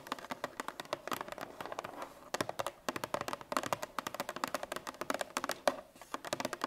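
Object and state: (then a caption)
Paperboard milk carton tapped with fingernails. A 1 L Parmalat Tetra Pak milk carton (paperboard laminate), apparently sealed and likely full, lies on its side on a wooden table and is tapped with the long painted fingernails of both hands. Quick, dry, clicky taps come in rapid uneven bursts with a brief pause near the middle. Each tap has a hollow midrange knock, almost no bass, a little high crispness, and dies away almost instantly.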